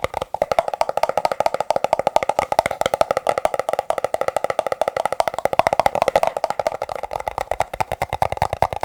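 Fingertips tap rapidly on plastic cups, making crisp, hollow clicks with a woody, mid-pitched tone around 640 Hz. The taps come in a fast, steady stream of about 58 sharp hits that die away almost at once.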